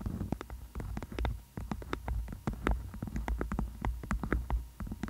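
A beeswax-coated cotton food wrap, tented over a microphone, is tapped and scratched with long nails. The result is a rapid series of dull, close taps with faint scratchy texture over a steady low rumble. The taps are too dense and irregular to count.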